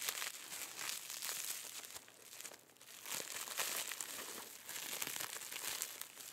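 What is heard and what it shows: White-gloved fingers squeeze, crinkle and pull open the clear crinkly plastic cellophane wrapped around a small lump. A steady stream of bright, crackling crinkles and rustles fills the clip, dipping briefly near the middle before building again. The sound is thin and high, with almost no low end.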